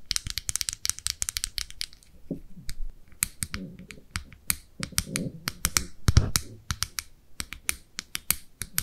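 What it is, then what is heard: Plastic makeup compact tapped with nails. Long nails tap and scratch the clear plastic lid of a small, round, red blush compact with a hollow case, held in both hands. Rapid, crisp, bright clicks come in quick clusters, with a dull low knock under each tap and short scratchy rubs in between. Every tap dies away almost at once.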